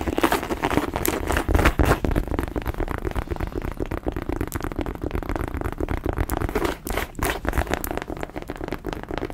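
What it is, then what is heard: Leather boot scratched with nails. A tall, empty white cowboy boot, apparently leather (possibly faux) with embossed stitching and a hollow shaft, is held upright in both hands and scratched and tapped along the shaft with long acrylic nails. The result is a dense, steady run of dull, crinkly scratches and quick taps, with low body and little brightness, and it keeps going without pause.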